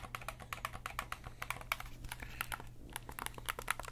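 Fingertips press and click the buttons and triggers of a black, hand-sized, hollow plastic PlayStation-style gamepad held in both hands. A rapid, uneven stream of short, sharp, bright plastic clicks plays over a faint, steady low hum.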